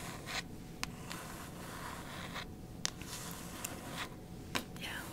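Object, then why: Hardcover book with glossy paper dust jacket. Very long white stiletto acrylic nails scratch and tap across the front cover of the hardcover novel "Lock and Key," a solid book with a glossy paper dust jacket held up in both hands. A soft, steady papery scratching runs throughout. Several sharp, bright clicks from the nail taps cut through it, each dying away almost at once.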